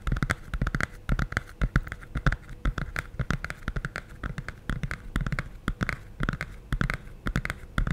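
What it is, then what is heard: Hardcover cardboard picture book. Fingertips and nails tap rapidly and unevenly on the glossy printed board cover of a medium hardcover cardboard children's picture book, held solid and closed in both hands. Each tap is short and dry: a dull low thump from the board, topped by a crisp click where a nail strikes, dying away almost at once in a quiet space.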